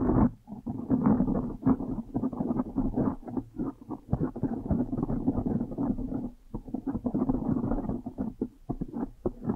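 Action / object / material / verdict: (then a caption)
scrape / foam microphone windscreen / foam / none. Long nails scratch fast across the top of a blue foam windscreen on a microphone. The result is a dense, muffled crackle of rapid rustling bursts, full and low with no high end, with a brief lull near the middle before the scratching resumes.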